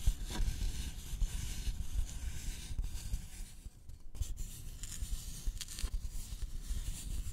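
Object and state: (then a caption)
Thin wooden board scratched with fingernails. Fingernails of both hands scratch a thin, flat, solid wooden notched trowel board with visible grain. The result is a steady, dry scratching and rubbing texture with bright, hissy edges over a low, dull rumble, easing briefly near the middle before continuing.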